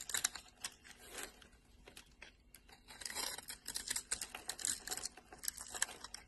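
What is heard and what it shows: A solid orange bar of soap, held in the hand, is carved into small cubes with a metal blade and scraped off. The result is a quiet, dense run of crisp, bright crackling and scraping clicks with almost no low end, each one dying away instantly.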